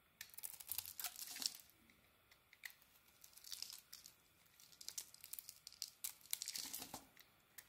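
A small metal blade scrapes and shaves a solid oval white bar of soap with a dark brown and pink coating, curling off shavings. The sound is quiet, bright scratching and crisp shaving strokes that come in irregular bursts with brief pauses between them.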